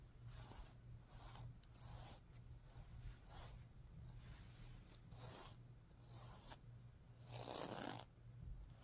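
A hand and nails rub and stroke the plastic sequins on the green side of a stuffed sequin-covered pillow. It makes a series of soft, scratchy swishing strokes with a bright rasp over a steady low hum. The strokes swell and fade, and the loudest, fullest sweep comes near the end.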